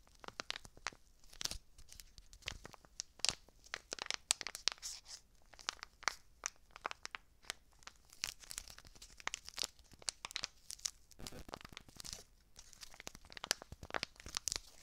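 A small red foil-lined paper seasoning packet, a foil and paper laminate, is crinkled, squeezed and scratched with long dark nails and fingertips. Dense, bright crackling and crunching snaps come in quick irregular bursts with little low end. Each snap cuts off almost instantly, leaving a steady papery rustle between them.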